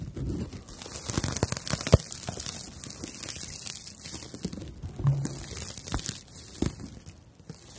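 Long nails scratch and rub the rough fibers of a palm-sized, porous, light slice of dried natural loofah sponge. The result is a steady, dry crinkling and crunching texture, broken by many quick, separate scraping clicks. The sound is mostly low-weighted with a bright, airy hiss on top.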